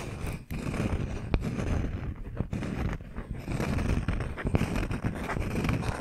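A palm-sized round slice of solid wood with a bark rim is tapped and scratched with the fingernails of both hands. Dense, low, rumbly scratching fills the clip, with short sharp taps standing out above it and a faint high hiss on top.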